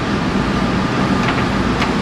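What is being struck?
Nothing is struck.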